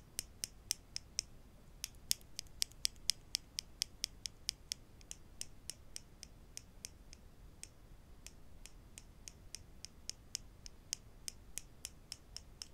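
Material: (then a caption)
Wood. Wooden clothespins are tapped quietly, giving a steady run of short, dry, bright clicks over a faint background hiss. The taps come in quick bursts with brief pauses. Each click dies away almost instantly.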